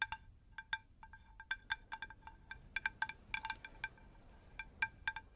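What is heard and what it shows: A round, shallow, unglazed terracotta plant saucer is tapped with long nails on both faces. The result is a rapid, uneven series of quick, bright, bell-like clinks with a clear pitched tone near 1.6 kHz and high overtones. Each tap dies away almost at once over a faint low background hiss.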